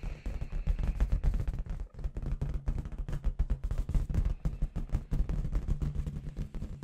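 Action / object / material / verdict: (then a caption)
tap / inflated latex balloon with confetti / latex / none. Long red nails rapidly tap a clear, hollow, inflated latex balloon with confetti inside. The taps come as a fast, dense stream of short, dull, low thumps that sound much like distant gunfire. There is a brief pause just before two seconds, then the drumming continues steadily.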